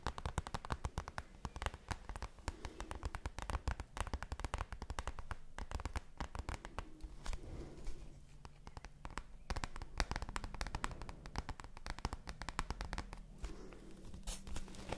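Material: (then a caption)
Cardboard. A large, flat, hollow dark-blue printed cardboard advent calendar is held up close and handled, scratched with long nails and fingertips. The result is a dense run of sharp, crackly taps and scrapes over a deep, boomy low rumble.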